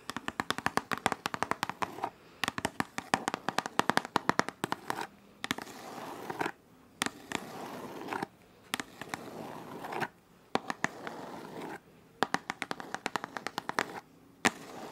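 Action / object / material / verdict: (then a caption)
tap / printed cardboard box / cardboard / none. A printed white cardboard retail box for shot glasses is held in the hand and tapped and scratched with long nails. Rapid bursts of dry, sharp clicking taps alternate with longer stretches of soft, steady scratching, with short silent pauses in between.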